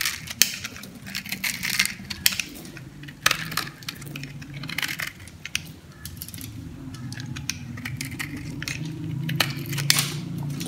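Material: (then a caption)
Soap. A metal blade scrapes across a yellow solid dry soap bar held in hand, cutting crunchy cubes and chunks off its surface. Bright, crisp crackles and sharp snaps come in quick bursts over a steady low murmur.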